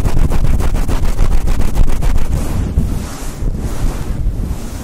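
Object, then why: Synthetic fur microphone windscreen. A fluffy synthetic faux fur windscreen on a Blue Yeti mic is rubbed and squeezed with the palms and fingertips. Fast, rhythmic brushing strokes come through as a loud, deep, muffled rumble with a crackly texture over the first half. The rubbing then eases into softer, breathier swishes with a faint bright hiss.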